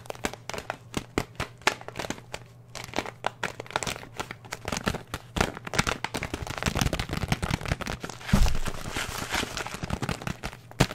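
A filled paper and plastic oat flakes bag, its top folded open, is held in the hands and crinkled and squeezed with the fingertips. Dense, rapid crinkles and sharp crackles run throughout over a steady low hum, swelling into a louder, brighter rustling burst near the end.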